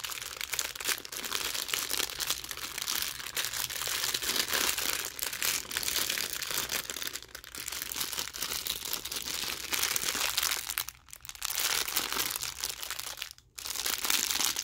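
A thin clear plastic sleeve holding a long green braided paracord bracelet is held in both hands and squeezed and bent with the fingers. The result is continuous bright, dense plastic crinkling with two brief pauses near the end.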